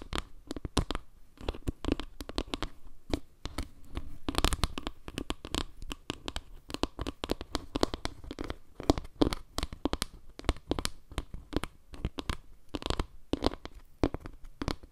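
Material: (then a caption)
Wood. Long nails scratch and tap the dark center tiles of a round board made of wood slices, held close to the mic. The result is a steady stream of rapid, dry clicks and scratchy taps. Each one is short with almost no ring, and the sound has a soft low body under brief bright edges.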